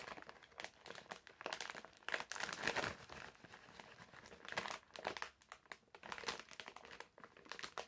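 A medium printed plastic-film bag full of wrapped candies is held in both hands while the fingertips squeeze and crinkle it. The result is a dense, crackly stream of bright crinkling with almost no low end, rising into louder bursts and easing back between them.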